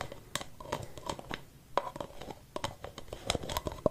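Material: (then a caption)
Plastic. A hollow white plastic aerosol spray-can cap is held alone in the hand while fingertips and nails tap and scratch its outer surface. Quiet, dry, irregular taps with a hollow mid-pitched plastic tone mix with scratchy, crinkly rubbing, and each tap dies away almost instantly.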